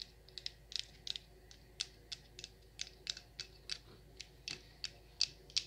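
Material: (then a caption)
Wax. Long nails tap and scratch the rim and sides of the same wax pillar candle, hollowed at the top where it has burned. About eighteen short, bright clicks come at an irregular pace, each dying away almost at once over a quiet background.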